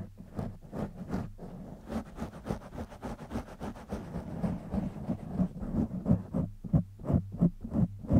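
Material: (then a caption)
Foam. Fingertips and short nails of both hands rapidly scratch the sides and top of a black foam windscreen covering a silver condenser microphone. The result is a dense, uneven run of muffled, boomy scratching bursts, heavy in the low end, that grow slightly louder toward the end.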